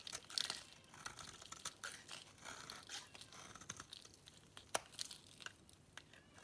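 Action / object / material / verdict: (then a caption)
scrape / bar of soap cut with a metal blade / soap / none. A metal blade cuts a grid into a solid, dry white bar of soap and scrapes off dry, crunchy shavings. The result is a steady run of crisp, bright scraping and crumbly crunching, broken by sharp clicks and quick tearing sounds with almost no low end.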